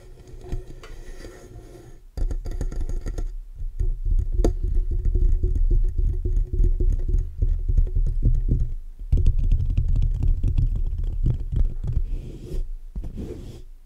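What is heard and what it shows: Fingertips of both hands tap and scratch the sides of the metal mesh grille on a black USB condenser microphone with a metal body, making a fast, uneven patter. The close-miked sound is a dense, deep, boomy thumping with scratchy rustle over it, after a quieter opening couple of seconds and a few brief pauses along the way.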